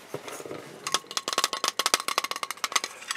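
A small, hollow, painted matryoshka-style vampire nesting doll, likely wood, is held in both hands and tapped with the fingertips and nails. After a second of soft, faint tapping, a quick run of about sixteen crisp, bright clicks follows, each with a short hollow knock that rings near 1.3 kHz and dies away almost at once.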